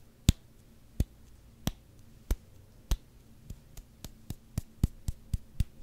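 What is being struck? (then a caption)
Rubber hockey puck. A solid black rubber hockey puck is tapped slowly with the fingertips, giving short, dull, low thuds with only a faint bright click on top. The taps start widely spaced and grow steadily quicker and closer together toward the end.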